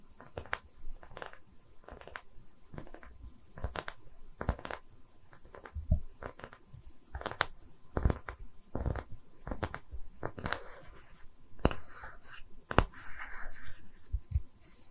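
Long red nails tap and scratch the surface and edge of a small, round, solid wooden tree-slice stand with growth rings, held in both hands. Many short, dry knocks land at an uneven pace, each dying away almost at once, with soft scratchy rasps and a bright crinkly texture in between. The sound sits mostly low, with a dull, hollow thud under the clicks.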